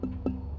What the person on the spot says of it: Outside wall, kind of hear it, it rings